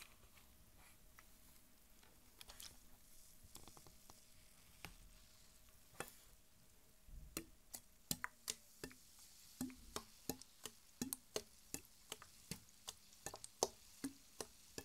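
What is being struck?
Plastic PET soda bottle.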